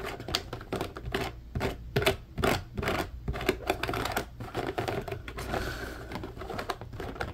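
Fingernails scratch and tap across the grid bars of an empty, hollow, medium-sized blue plastic mesh basket. The result is a quick, uneven run of dry, short clicks and raspy scrapes with a hollow plastic tone, over a faint low rumble.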